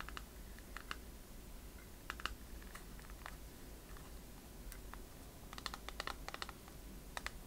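A transparent plastic phone case filled with liquid glitter is tapped on its surface with long fingernails and turned in the hands. Quiet, sharp clicks come in scattered single taps and brief bursts, with a denser cluster near the end. A steady low hum sits beneath them.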